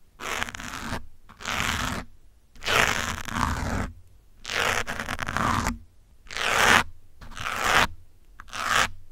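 A metal pin held in the fingers scratches the top of a grey foam windscreen on a black microphone. Close, bright, broadband scratching comes in repeated strokes a second or so long, separated by short silent gaps, with a faint low rumble underneath.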